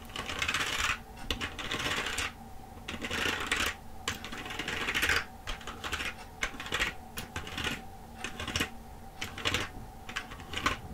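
Long acrylic nails tap and press the keys of a black plastic computer keyboard held upright, with some sweeping and rubbing motions across the keys. Rapid bright plastic clicks and scratchy rustles come in bursts separated by short quieter gaps, over a faint steady low hum.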